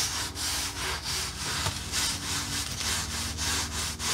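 Long glittery nails and fingertips scratch and tap along the flat slats and round knob pegs of a solid, red-painted wooden accordion peg rack lying on a dark fabric surface. The result is a steady, rhythmic run of bright, raspy scraping strokes, like quick sawing or rubbing, over a faint low hum.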